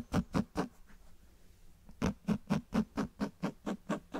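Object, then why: Cloth-bound hardcover book. Fingers tap on the spine and cover of a closed cloth-bound hardcover book held close to the microphones. Three quick, dull taps are followed by a pause of faint scratching, then ten more steady taps. The taps are soft, muffled thuds with a low body and almost no ring.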